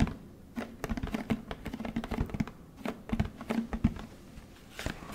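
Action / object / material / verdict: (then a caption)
tap / plastic detergent jug / plastic / none. A large orange plastic Tide detergent jug with a blue cap is turned in the hands while fingertips tap on its plastic. The result is a quick, irregular run of short, dry, hollow taps and thunks with a low body around 220 Hz, plus soft handling rustle between them.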